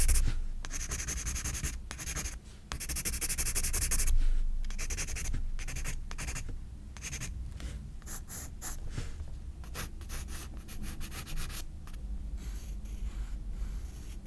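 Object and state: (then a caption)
Pencil hatching on a paper sketchbook page. A graphite pencil hatches quick short strokes on a page of a spiral-bound paper sketchbook, making fast, uneven, bright scratchy bursts over a steady low rumble. The scratching dips briefly as the pencil lifts off the page, then resumes in a softer rhythm of short strokes.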